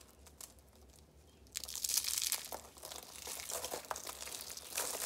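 Dried red soap curls, shaped into roses alongside a pile of dry red soap flakes, are crushed and crumbled in the hands. After about a second and a half of faint crackles, a dense run of bright, crisp crunching and crinkling begins. It continues in uneven bursts until the end.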